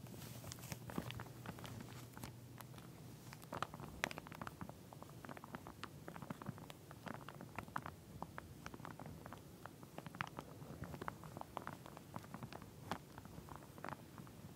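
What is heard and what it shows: Long nails on both hands tap and scratch along the teeth of a pink plastic wide-tooth comb sealed in a clear plastic sleeve and lying flat. The result is a quiet, steady stream of dense, dry clicks and crinkly scratches with no ring after each tap. A faint low hum sits under the first few seconds.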